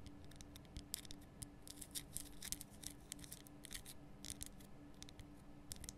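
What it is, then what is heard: Himalayan rock salt lamp. Long nails scratch and tap across the rough surface of a large, glowing pink Himalayan rock salt lamp, a solid salt block cupped in both hands. The result is a quiet run of quick, dry, bright scratches and clicks in irregular bursts over a faint, steady low hum.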